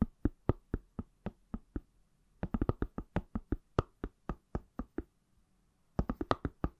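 Fingertips and nails tap the back of an iPhone in a pale green, palm-sized, solid silicone/plastic case. Twenty-nine short, dry knocks come in three bursts: a steady run, a quicker cluster after a brief pause, and a fast flurry at the end. Each knock is a dull, low thud with a light click on top that dies away almost instantly.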